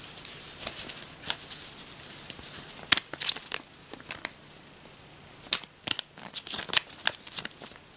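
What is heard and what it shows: Long manicured nails flick and count thin, flexible US paper dollar bills (cotton-linen paper) one by one from a stack held in both hands over a loose pile of bills on a bedspread. Crisp, bright paper snaps and crinkles come in irregular bursts over a soft, steady hiss, with almost no low end and each flick dying away instantly.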